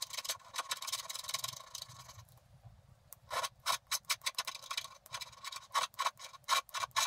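A wooden stylus scrapes the black coating off the pink background of a flat scratch-art paper card in fast back-and-forth strokes. A dense, bright, continuous scratching runs for about two seconds and fades to near quiet. It is followed by a series of short, sharp, separate scraping strokes with a dry papery edge around 1 kHz.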